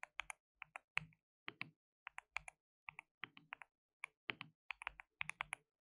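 Fingertips rapidly type on a compact white RGB-backlit mechanical keyboard with plastic keycaps and a hollow case. Around 28 quick, quiet keystrokes come in irregular bursts and pauses. Each is a bright, sharp plastic click with a faint hollow thock beneath, and they stop almost instantly.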